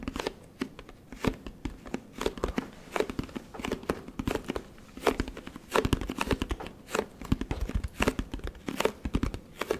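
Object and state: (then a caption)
Plastic detergent bottle. Fingertips tap and scratch a large orange plastic Tide detergent jug and its paper label close to the microphone. Dry, crinkly taps and scratchy rustles come in quick, irregular bursts, each dying away almost instantly, with a hollow low thump under the brighter scraping.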